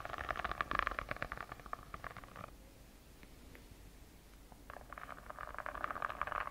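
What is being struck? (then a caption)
Notebook with textured faux-leather cover. Long acrylic nails scratch rapidly across the purple snake-pattern textured faux-leather cover of a hand-sized, solid notebook held close to the mic. Dense bursts of dry, raspy scratching with a midrange tone fill the first couple of seconds, give way to a quiet pause with a few faint ticks, then start up again near the end.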